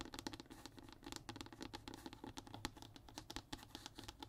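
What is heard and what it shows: Short nails and fingertips tap and scratch rapidly across a flat, thin, brown hardboard (MDF/fiberboard) sheet lying on a table. The result is a quiet, dense patter of dry clicks and scrapes with a bright scratchy edge and soft low thumps. Each hit dies away almost instantly.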